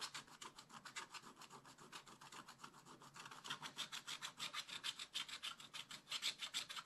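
A wooden stylus scratches rapid strokes across a flat, black-coated scratch-art page in a spiral-bound book. The result is a steady series of quick, bright, raspy scratches at about three strokes per second, growing slightly louder toward the end.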